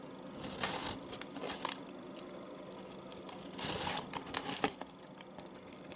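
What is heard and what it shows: A solid, hand-sized, pale yellow bar of household soap is held in one hand while a small metal knife with a light handle scrapes and shaves curls off its edge into a plastic tub below. Bright, dry scraping and crisp shaving sounds come in short bursts over a quiet background, with a few sharper scrapes standing out.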